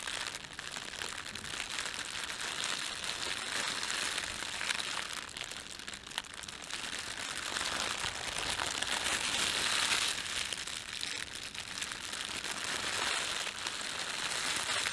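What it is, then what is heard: Plastic bread bag being crumpled. Fingertips rub and crumple the thin film of an empty, red printed plastic bread bag. The result is a dense, continuous crinkling that sits almost entirely in the bright high range, with almost no low end. It swells to its loudest around the two-thirds mark before easing slightly.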